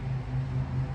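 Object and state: Nothing is struck.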